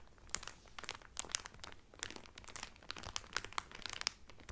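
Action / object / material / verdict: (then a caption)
scrape / cellophane film wrapped around a folded cotton towel / cellophane / none. Both hands press and rub the thin clear cellophane wrapper sealed around a folded blue cotton Carnival towel lying flat, crinkling the film with fingertips and long painted nails. The result is a dense run of sharp, bright crackles and snaps over a soft, steady rustle, with each crackle dying away almost instantly.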